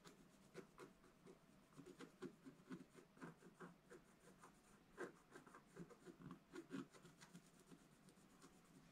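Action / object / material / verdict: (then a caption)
scrape / coated scratch-art paper scratched with a wooden stylus / coated paper / none. A pointed wooden stylus held in the fingers scratches a black-coated scratch-art paper page in a bound book lying flat on a table. Quiet, irregular short strokes give a dry, papery rasp that is mostly mid-range and dies away at once with no ring.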